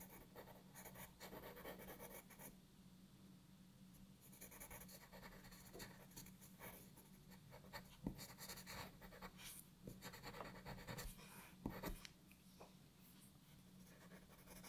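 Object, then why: Graphite pencil on a paper sheet. A graphite pencil tip scratches short strokes on a flat paper sheet lying on a wooden desk, with the other hand resting at the edge of the sheet. Soft, dry scratching comes in quick bursts with bright, hissy edges over a steady low hum, with a few sharper strokes standing out near the middle.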